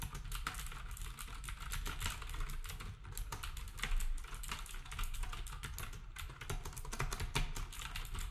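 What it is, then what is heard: Plastic typewriter-style keyboard being typed on. Fingertips type steadily on a black compact plastic typewriter-style keyboard with round plastic keycaps. The result is a rapid, continuous stream of short clicky key taps with bright edges over a heavy low rumble.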